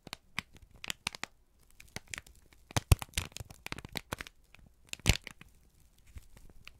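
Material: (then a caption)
Paper. A single thin, crumpled sheet of brown kraft paper is held in both hands and squeezed and crinkled with the fingertips and thumbs. The result is a run of dry, irregular crackles and crisp rustles, with a couple of sharper, louder snaps near the middle and late in the clip.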